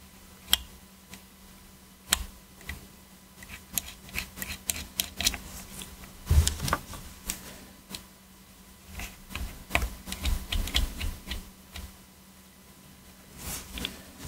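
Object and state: Plastic game controller.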